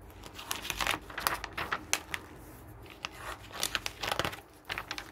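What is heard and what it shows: Pages of a glossy paper garden catalog on a wooden table are turned by hand and rubbed flat with the fingers. Soft, crisp crinkles and papery swishes come in bright bursts, with a quieter stretch in the middle before another flurry of rustling.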